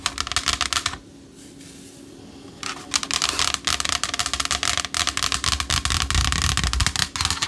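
Long acrylic nails scratch and rub the surface of a flat black, hand-sized, solid Morphe eyeshadow palette, likely in a cardboard case. Rapid, bright, dry scratching clicks come in bursts, with a brief quiet gap near the start. Each sound dies away almost instantly with no ring.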